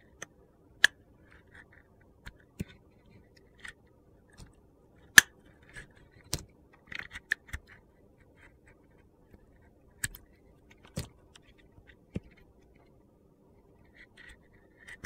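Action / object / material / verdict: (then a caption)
scrape / bar of soap scraped by a metal blade / soap / none. A metal utility knife blade carves and scrapes the remaining purple glitter off a hand-sized solid orange soap bar held in a hand. Sharp, dry clicks and short gritty scrapes come at irregular intervals, with crisp, bright edges that die away almost at once. The sound stays quiet and light, with little low end.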